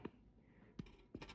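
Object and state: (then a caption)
Baked-through bread loaf (sounds hollow). Freshly baked sandwich bread loaves, hot and just out of the oven, are knocked on five times: short, dull, muffled thumps with a low hollow tone and almost no ring. They sound hollow, the sign they are baked through.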